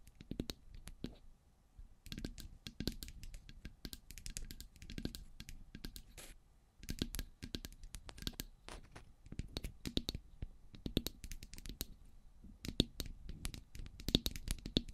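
Long grey pointed nails tap and scratch the sides of two identical silver metal cylindrical microphones. Quick, dry clicking taps with very short decay are mixed with scraping, and the bursts carry both a low thump and a bright edge. The sound comes in dense flurries, with brief lulls around the two- and six-and-a-half-second marks.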